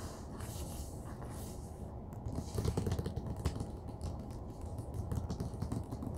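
Fingertips and nails scratch and rub across the glossy, colorful printed dust jacket of a large hardcover Marvel's "The Eternals" comic book/graphic novel lying flat on a table, before the hands leave the cover. The result is a steady, low, rumbling scrape with rough, dull texture and little brightness, swelling into a few sharper rasping bursts midway through.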